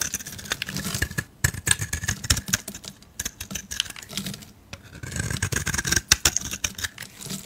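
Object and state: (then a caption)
Soap bar being carved. A palm-sized, solid white oval soap bar with a blue speckled rim is held in the hand and shaved with a metal utility blade. The result is a rapid run of crisp, dry scraping strokes with bright, sharp ticks and a soft low rustle underneath, broken by brief pauses.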